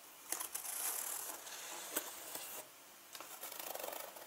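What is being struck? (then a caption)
Leather handbag with zippers. Fingers with long nails scratch a turquoise leather handbag with gold zippers lying on a table and pull at the zipper tabs. Soft, bright, hissy scratching is broken by a few sharp clicks and a short pause, then resumes as quicker rustling.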